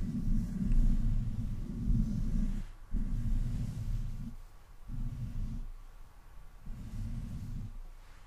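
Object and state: Nothing is struck.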